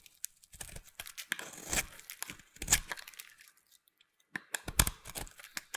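A metal utility knife blade carves and scrapes a white, solid, hand-sized bar of soap held in one hand with long painted nails, peeling off curls over a pile of soap shavings. Crisp, dry scraping and crunching strokes come in irregular bursts with a bright, papery texture and short, dull thuds underneath. A brief silence falls near the middle before the cutting resumes.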